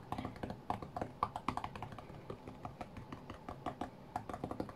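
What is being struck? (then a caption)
Glass-screen tablet. Fingertips tap quickly and densely on the glass touchscreen of a flat white iPad while playing a rhythm game. The taps are short, dry, quiet clicks with a mid-pitched knock near 1.2 kHz and almost no bright top, each dying away almost instantly in an irregular, rapid pattern.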